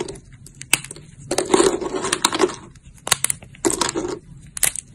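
Thin, brittle, translucent brown dried amber soap plates in a pile are crushed and snapped between fingertips with long lilac nails. Sharp, bright snaps alternate with dense bursts of crisp, crunchy crackling that cut off almost instantly, with quiet gaps between.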